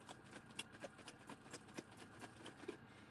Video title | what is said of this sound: Sunday Dinner | Hear that sloshing around in there.